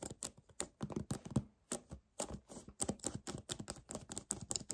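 A hollow 1 L white paperboard kefir carton is tapped rapidly with fingernails and gripped with both hands. The result is a fast, uneven string of short, dry clicks and soft crinkly scrapes. Each sound has a low hollow thump and a bright papery edge, and dies away almost instantly.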